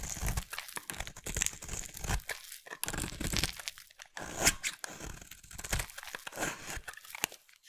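A solid light blue bar of soap, held in the hand, is carved into curls with a utility knife blade. Dense, crunchy, crinkling scrapes with bright hiss follow one another in quick, uneven bursts, each stopping dry with almost no ring.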